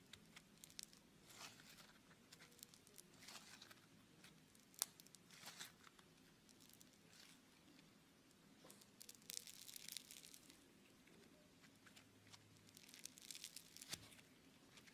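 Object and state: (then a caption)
Foam bead clay (Floam) being kneaded. A lump of blue beaded foam clay (Floam) is kneaded with the fingers and stretched apart. It makes soft, bright tearing, crackling and popping sounds in quiet bursts, with faint low hum underneath.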